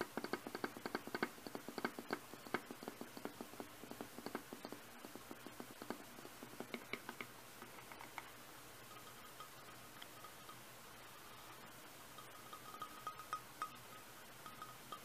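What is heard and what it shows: Fingertips and nails tap and touch the sides and black plastic lid of a large, empty, hollow clear glass blender jar sitting on a carpet. Quiet, quick clicky taps patter in a dense flurry for the first half, then thin out into sparser taps over a faint, steady glassy ring.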